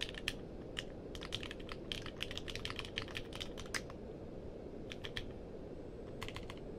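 Fingertips type on the plastic keycaps of a compact mechanical keyboard with a purple case, producing bursts of sharp, bright clicks over a steady low background hum. The keystrokes come in quick runs with short pauses between them, and each click dies away almost instantly.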